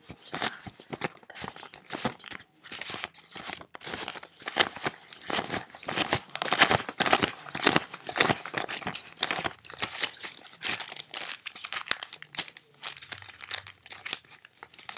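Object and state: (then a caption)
Paper banknotes being crinkled. A small stack of worn paper US dollar bills is crinkled, rubbed and sorted between fingertips. The result is a dense, irregular run of sharp, bright paper crackles and rustles that keeps going for the whole clip.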